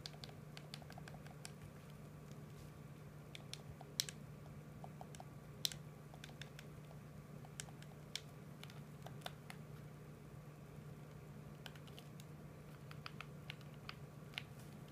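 A PS4 controller made of hollow hard plastic is held in both hands while thumbs tap rapidly on its buttons. Quiet, irregular, sharp plastic clicks with a bright edge sound over a steady low hum, each click dying out almost instantly.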